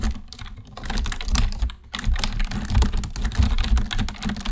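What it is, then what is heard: Plastic computer keyboard. Fingertips on both hands type steadily on a black plastic computer keyboard, making rapid, overlapping key clicks with a soft, low thump under the brighter taps. A brief pause comes just before the two-second mark, then the typing picks back up and continues to the end.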